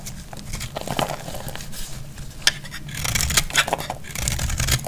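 A metal blade cuts and scrapes the edge of a solid, dry yellow bar of soap, and flakes fall away. Crisp, bright scraping and crumbly crackles come in quick, short bursts over a low, steady rumble, with a few sharper snaps standing out.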